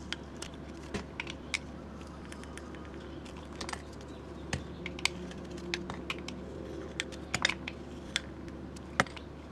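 A metal utility blade shaves curls off the side of a solid rectangular bar of white soap, which has a black painted top with a moon design and is held in hand. Short, crisp, bright scraping clicks and ticks come in quick, irregular bursts over a low, steady background hum.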